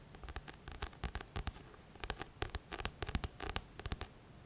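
Fingertips tap and scratch the glossy back cover of a thick paperback book. A quick, irregular run of short, dry taps is heard, each with a soft low thump and a bright, crackly edge, over faint scratching. The taps stop dead with no ring, and the whole clip stays quiet.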